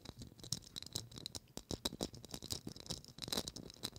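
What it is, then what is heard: Plastic faceted Christmas ornament. A small hollow gold Christmas ornament ball, probably plastic, with a faceted, studded surface and a gold cap, is held in both hands and tapped and scratched with long acrylic nails. Quick, dry clicks and scratchy rattles follow one another rapidly with almost no ring. The sound is bright and crackly, with some soft low thumps beneath.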